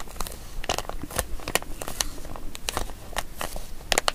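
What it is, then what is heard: Plastic zip bag. A small, empty, printed plastic zip-lock bag with a grey cat picture is held in both hands while fingertips and long nails crinkle and rub it and open and close the zip seal. Soft continuous crinkling and rustling are punctuated by sharp, bright clicks and snaps from the zip, heard up close in a quiet space.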